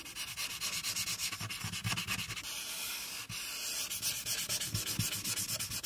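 A marker tip rubs quickly back and forth along the right border of a flat paper coloring sheet on a clipboard, coloring it pink. The result is a steady, bright, scratchy hiss made of rapid strokes, with faint low thumps under some of them.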